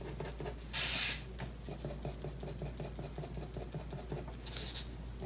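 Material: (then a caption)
Paper. A pen scratches quick hatching strokes across a thin sheet of white drawing paper lying flat on a wooden desk. The result is a rapid, even run of short, dry scratches over a steady low hum, with two brighter, louder rasping bursts, one early and one near the end.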